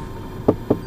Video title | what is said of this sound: Nyobain: Nissan Livina X-Gear 1.5 CVT 2014 - Ternyata boleh juga mobil ini | plastiknya lumayan tebal gitu ya. Jadi kualitasnya ok lah.